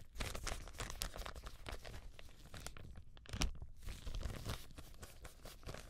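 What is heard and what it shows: Gloved hands crinkle and pull an empty, thin white translucent plastic bag until the film tears. Dense, bright crackling and rustling run throughout over a low rumble. A brief quiet gap is followed by the loudest sharp tearing burst just past the midpoint, and the crinkling then resumes.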